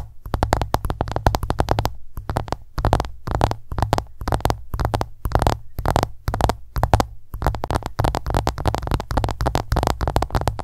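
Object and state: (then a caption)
Smartphone glass screen tapped. An iPhone lies flat while long nails tap rapidly across its glass screen. The result is a dense run of short, clicky taps with almost no ring, broken by brief pauses and carried over a low hum.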